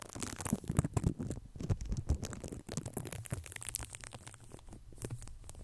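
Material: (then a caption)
Foam. Fingertips of both hands scratch and rub the black foam windscreen on a red Blue Yeti microphone. The result is a close, dense, irregular scratchy rustle with a heavy low rumble, crackly bursts and brief bright flecks, continuing throughout.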